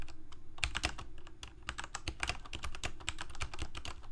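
Fingertips of both hands type rapidly on a full-size Corsair mechanical keyboard with plastic keycaps on mechanical switches, a hollow plastic case and a blue backlight. A dense, steady run of sharp, bright clacks, each dying away almost instantly, rides over a low, hollow thump from the case.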